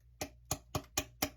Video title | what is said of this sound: My favorite dessert | it sounds kind of like something you'd find near a volcano. Like it sounds like glass almost.